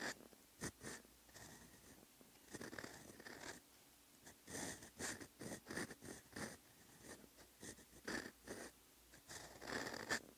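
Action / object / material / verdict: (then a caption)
scrape / steel fountain pen nib on lined paper sheet / paper / none. A steel fountain pen nib scratches over a flat lined paper notebook page while writing Korean letters over the earlier lines. The result is a quiet, dry, papery scratching in short bursts of strokes, with bright, hissy edges and brief pauses between letters.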